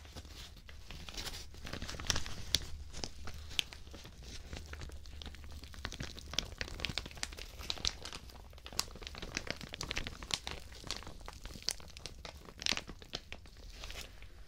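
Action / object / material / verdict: scrape / thin plastic shower cap / plastic / none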